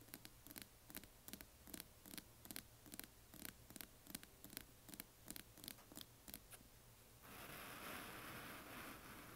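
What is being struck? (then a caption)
Small hollow resin box tapped and scratched with fingernails. Long nails tap quickly and unevenly on the lid and sides of a closed, hand-sized, hollow, yellow translucent glitter resin or plastic coffin-shaped box, making about 22 short, dry clicks over the first seven seconds. The tapping then gives way to a steady, brighter scratching hiss that lasts to the end.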